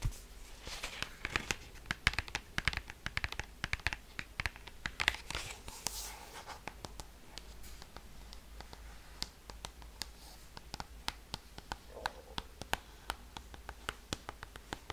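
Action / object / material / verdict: tap / cardboard record sleeve / cardboard / none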